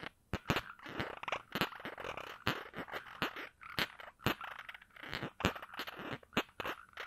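Fingers work at the round cap of a small glass perfume bottle held in one hand, twisting and rubbing or scratching at it. The result is a steady run of soft scraping and crunchy friction noise, punctuated by many sharp, bright clicks that die away almost instantly, with short quiet gaps in between.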